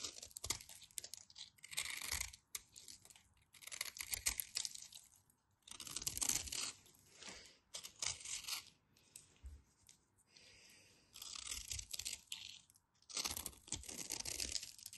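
A solid white bar of soap is held in the fingers while a utility knife blade scrapes and cuts its surface, sending flakes off. The result is a series of dry, bright, crisp scraping and crunching bursts, separated by short pauses.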